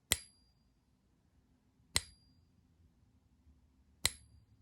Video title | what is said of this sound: Gold Plated Tungsten Maple and the No-ping Gold Maples - coin ping test | Doesn't have nearly the resonance.